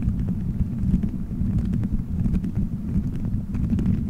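Fingertips squeeze, rub and scratch colorful gelatin gummy bears stuck all over a microphone head in a solid dome shape. The result is a steady, muffled, low rumble with soft sticky crackles and faint brief ticks scattered throughout.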